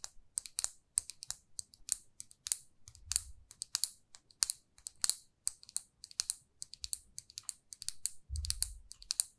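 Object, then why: Small lacquered lipstick tube. Long nails tap and scratch a small glossy red lacquered lipstick tube, making a rapid, irregular run of dozens of sharp, bright clicks that die away instantly. Short stretches of soft, low scraping rub in beneath the taps, the last one the strongest.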